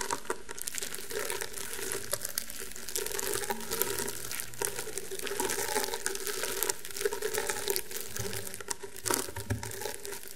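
Fingertips with painted medium-length nails scratch and tap across a thin, solid, flat round table mat of coiled woven rattan/straw fibre lying on a table. A steady, dry crinkling scratch fills the clip, with occasional sharper taps standing out from the rustle.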